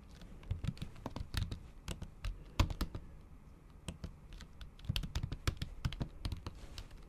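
Long acrylic nail tips type on a MacBook Pro keyboard whose plastic keys sit under a thin pink patterned silicone cover. The result is a rapid, uneven run of soft, dull taps with a low thump and short bright clicky ticks. The taps briefly thin out midway before picking back up.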